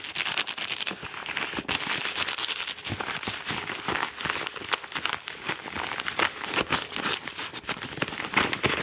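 Fingertips and painted nails scratch fast over the surface of a medium-size yellow Amazon kraft paper padded mailer, which is soft and hollow. A dense, bright crinkling and scraping texture runs continuously, with quick sharp crackles scattered throughout and very little low end.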